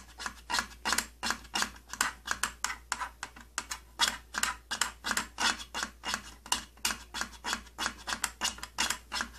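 Fingernails scratch and rub the purple plastic side panel of an opened tattoo kit case in quick, uneven strokes. Each stroke is a short, bright, raspy swipe over a faint steady low hum.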